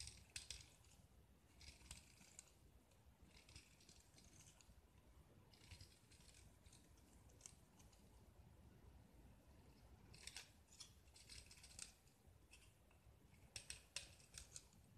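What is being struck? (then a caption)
Gypsum block scraped with a steel knife. A small, solid white gypsum block splattered with green paint is held in one hand and scraped and carved with a steel utility knife blade, while flakes and shavings fall onto the pile below. Quiet bursts of bright, crisp scraping and crunching come and go over a low, steady rumble.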